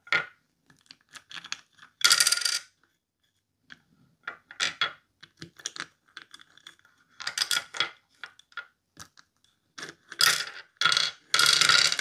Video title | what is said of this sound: Dice Soup ASMR 🎲🍲🤌 Yummy Crunchy Fizzy Sounds (minimal talking, wooden soup, dnd dice) | dice soup is very clacky